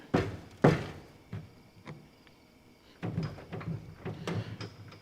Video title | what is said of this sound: DODGE CHALLENGER RESTORATION: We GUT the interior! ++ SUPER CLEAN RAFFLE - Pt. 9 | there's definitely some uh some loose stuff in there